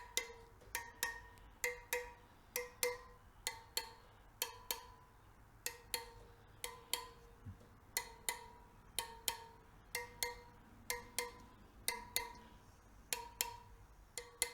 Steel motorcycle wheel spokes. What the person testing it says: if they all sound the same you pretty much know you do not have a loose spoke